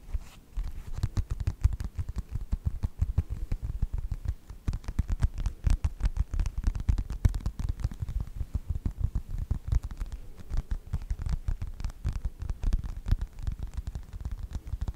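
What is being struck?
Faux leather passport wallet.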